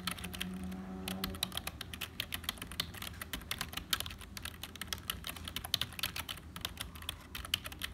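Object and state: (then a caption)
Plastic membrane computer keyboard being typed on. Fingertips of both hands type steadily on a black HP plastic membrane keyboard with hollow keys. The keys make a rapid, uneven stream of short, bright plastic clicks over a faint low hum that fades after the first second or so.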